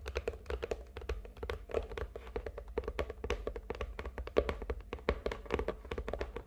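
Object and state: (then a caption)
Hollow cardboard gift box. Long nails tap rapidly on the top and sides of a medium, hollow red and gold glitter cardboard gift box lying on a table. The result is a steady stream of quick, dull, hollow taps with a low body, a mid tone around 420 Hz, and almost no ring.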